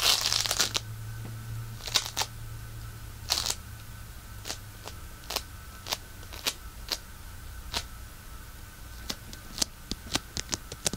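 A solid handful of pink polystyrene bead floam is held in one hand and pressed and scratched with fingertips. It gives a dense burst of bright crinkling at first, then separate sharp, crunchy clicks and crackles that stop quickly. Underneath runs a steady low hum and a faint constant tone.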